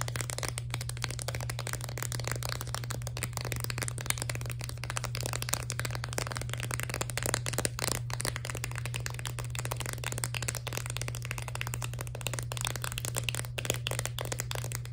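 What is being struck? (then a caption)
Chalk set in a plastic blister pack on cardboard. A hand-sized set of sidewalk chalk in a plastic blister pack on a cardboard backing is tapped rapidly with long nails, giving a dense, continuous stream of light clicky plastic taps and rattles. A steady low hum runs underneath throughout.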